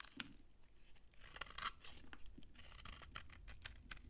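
A utility knife blade scrapes crunchy flakes off a thinned, solid, dry brown Farmamed bar soap. Quiet, rapid crisp crunches and bright crackles come in short bursts over a low background rumble, and the flakes crumble dryly away.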